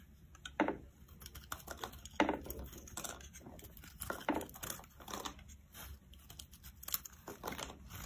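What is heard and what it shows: A metal blade slices soft curls off a solid, rounded, bright-green bar of soap held in the palm. Each cut makes a crisp, dry, crackling scrape that stops quickly, coming at an irregular pace over a quiet background, with a few strokes standing out louder than the rest.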